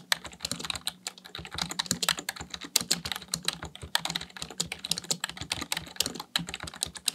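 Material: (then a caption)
Plastic. Fingertips type continuously on a full-size black plastic computer keyboard. The result is a fast, uneven stream of short, bright plastic clicks and clacks with almost no ring, over a faint steady low hum.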